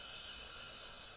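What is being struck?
Nothing is struck.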